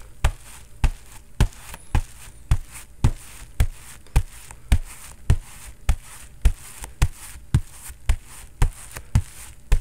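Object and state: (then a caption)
Padded boxing focus mitt being punched. A bare fist repeatedly knocks a hand-sized grey and black Everlast boxing focus mitt, its padded foam covered in synthetic leather, held up against the microphone. Each hit is a short, dull, deep thud with a faint bright slap on top, dying away almost instantly. The knocks come at a steady pace of roughly two per second.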